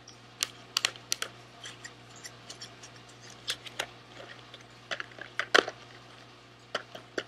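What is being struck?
Small cardboard candy box.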